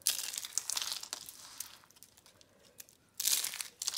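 Whole dry, brittle, hollow-rolled orange and red soap curl roses are squeezed and crushed in bare hands into flakes over a pile of soap crumbs. Bright, crisp crackling and crunching comes in a dense burst at the start, fades to faint crinkles in the middle, then returns sharply near the end. The sound is almost entirely high-pitched, with no low rumble.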